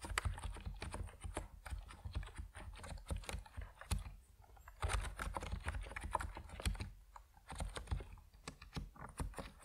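A compact plastic Epomaker NiZ Plum Atom 68 mechanical keyboard with white and purple PBT keycaps is typed on steadily with fingertips. The result is a fast run of short, dry key clacks with a deep thocky body and bright clicky tops, about 38 strokes. There are brief pauses between bursts of typing.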